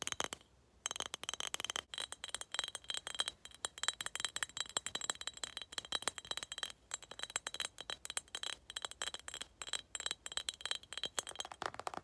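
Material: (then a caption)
Glass. A skull-shaped glass cup is tapped in quick, uneven bursts, giving sharp, bright clinks that die away almost instantly. The tapping runs steadily with a few short pauses and a faint high ringing tone underneath.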